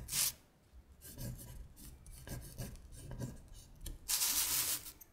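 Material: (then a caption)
Paper. Long stiletto acrylic nails trace the printed words on a thin paper worksheet of Korean colors, which lies flat on a glittery surface. The sound is dry, bright scratching and rubbing strokes. It opens and closes with louder, hissy sweeps, with softer irregular scrapes in between.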